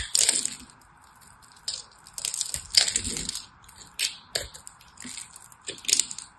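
A small knife cuts flakes from the surface of a hand-size solid purple and white striped soap bar. Each pass gives a short, bright, crisp scraping crackle that dies away almost at once. The cuts come in irregular bursts over a faint, steady midrange hum.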